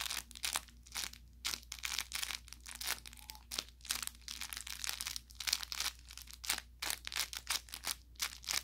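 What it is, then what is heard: Plush toy with crinkle filling. An orange velour plush carrot cat toy with crinkle filling is squeezed near its tip with the thumb and fingertips. This produces a quick series of bright, dry crinkling and crackling bursts with brief pauses between them. A faint steady low hum sits underneath.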